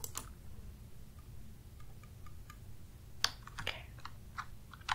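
Fingertips with short nails type rapid taps on a black full-size plastic computer keyboard with a hollow housing and plastic keys, resting on a desk, after one hand is briefly raised at the start. Sparse, irregular, bright plastic clicks with very short decay sit over a steady low hum.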